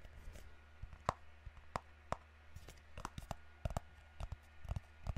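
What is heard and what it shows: A small, hollow, white rectangular cardboard product box is held in both hands close to the microphone and tapped and scratched with fingertips and nails. The result is a quiet, irregular series of short, dry taps with no ring, mixed with faint scratching, over a steady low hum.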